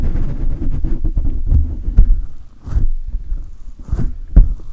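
Fingertips scratch and rub the hollow metal mesh grille of a silver condenser microphone while hands grip it, producing dense, deep, muffled thumps and rumbling friction. Quick scratchy bursts come in fast succession, with a few louder low thuds and brief breathy swishes standing out.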